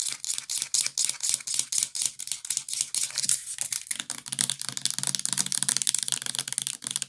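Fast tapping with long nails on the body and cap of a full purple plastic bath liquid bottle. It makes a rapid run of crisp, bright clicks with almost no ring. Past the midpoint the taps blur into a denser, steadier patter.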